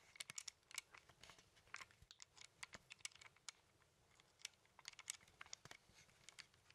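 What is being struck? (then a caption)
Plastic handheld game controller with buttons. A hollow plastic Nintendo Joy-Con controller, with the Joy-Cons attached to a grip and held in both hands, has its buttons clicked and its casing tapped with fingertips. The result is a quiet, rapid, irregular stream of sharp, dry, bright clicks and taps with almost no ring or low-end weight.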